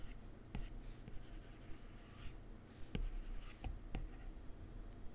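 A plastic stylus tip draws strokes across a solid iPad glass touchscreen and taps menu items on the glass. Soft, scratchy rubbing is broken by four light, short taps, with the quiet sound sitting mostly low and dying away quickly.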